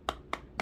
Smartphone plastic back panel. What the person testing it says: when I did tap it, does sound a little bit hollow